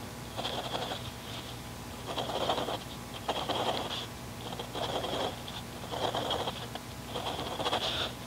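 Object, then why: Mechanical pencil on paper notebook page. A mechanical pencil tip, held in the fingertips, scratches dots and short lines across a paper grid notebook page. Scratchy bursts come in uneven spurts, with a bright, raspy edge over a steady low background hum.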